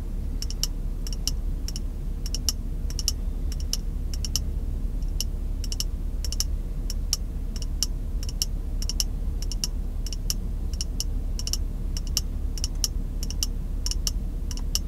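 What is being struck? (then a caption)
Small glass jar. A small, empty, clear glass jar held close to the face is tapped quickly with white-gloved fingertips. Rapid, light, bright clicking taps ring briefly over a steady low rumble that runs throughout.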